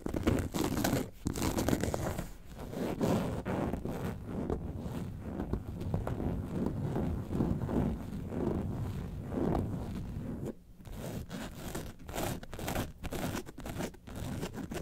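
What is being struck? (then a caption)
Faux leather carton-shaped bag. Long nails scratch the front and sides of an upright yellow faux leather lemonade-carton bag. The result is a steady, dense run of dry scratching and crinkly rasps, weighted toward low tones, with brief pauses where the strokes break off.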